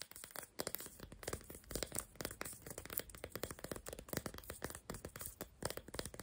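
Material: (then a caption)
Chalk. Long black nails rapidly tap and scratch the rough surfaces of four unwrapped, solid, hand-sized crayon-shaped sidewalk chalk sticks (pink, green, orange and lilac) held together in one hand. The result is a dense stream of quick, dry clicks and gritty scrapes with bright highs and almost no ring.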